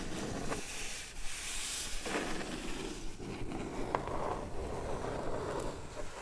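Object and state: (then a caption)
Cardboard box scratched with nails. Long red nails resting on the lid of a closed, hollow kraft cardboard box scratch and rub across its top and sides. The result is a steady, dry, papery rasp with a low, soft body and brief brighter scrapes over about six seconds.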